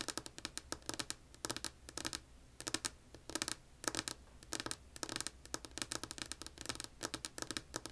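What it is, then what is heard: Wooden tabletop. Long polished nails on both hands tap and scratch a solid, flat, light wood-grain tabletop. Quick bursts of bright, crisp clicks come in uneven clusters, each dying away almost instantly, with short scratchy strokes between them and little low end.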